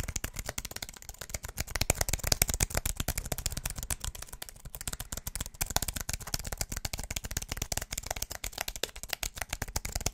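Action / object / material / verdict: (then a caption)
tap / aluminum and plastic keyboard / aluminum, plastic / none. A slim wireless keyboard with an aluminum body and white plastic keys is held in both hands in front of the mic while fingertips rapidly tap and press the keys. A dense, continuous stream of short, dry clicks and taps runs for the whole clip, with a low thump under a bright clatter. Each tap cuts off instantly, leaving no ring.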